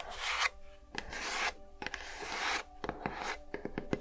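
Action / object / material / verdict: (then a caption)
scrape / small lidded cardboard gift box / cardboard / none. Long nails scratch and tap the textured lid and sides of a small, hollow, lidded cardboard gift box with a lilac gingham and flower print, held in one hand. Bright, rasping scratches come in bursts of about half a second, alternating with sharp, dry taps that cluster toward the end and die away almost instantly.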